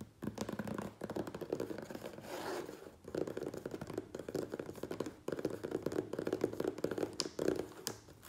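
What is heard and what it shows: Fingernails rapidly tap and scratch the top edge and taped seam of a medium, closed, hollow corrugated cardboard Priority Mail box. The result is a dense run of dry, quick clicks and scrapes with a hollow mid-range tone, broken by brief pauses near 3 and 5 seconds.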